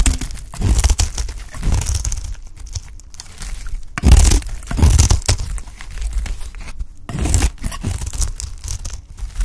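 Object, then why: Bar of soap shaved with a knife blade. A beige bar of dry soap, held in the hand, is shaved into thin curls with a utility knife blade. The result is dense, low, papery scraping and crunching strokes that swell and fade, with louder bursts around four and seven seconds.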